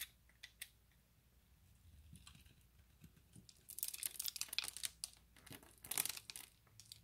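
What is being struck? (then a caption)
Bar of soap. A hand-sized, solid, opaque pale green bar of soap with embossed lettering has its surface scored into a grid and scraped with the blade of an orange utility knife. A few faint, sharp ticks open the clip before dense, bright, crisp scraping and crumbling bursts build in the second half.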